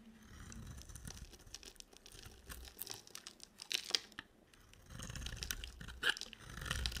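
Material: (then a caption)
Soap. A hand-sized, solid bar of white dry soap with a yellow coating is carved and scraped with a box cutter blade. It gives dry, crunchy scraping and crackling with bright, crisp snaps as flakes break away, over a soft low rustle, loudest toward the end.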